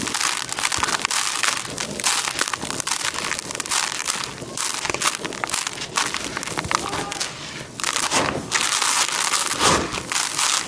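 Bare hands dig into dry grey crushed concrete grit in a white tub, scooping, squeezing and crumbling it back down. A dense, continuous crunching and crackling fills the clip, bright and gritty with almost no low end. It eases briefly a couple of times before building back to steady crushing.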